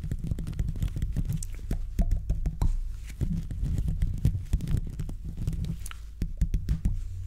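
Gloved fingertips scratch and rub the top of a silver condenser microphone's hollow metal mesh grille throughout. The result is a dense, boomy stream of low rumbling scrapes and quick soft thumps, with faint bright clicks flickering above.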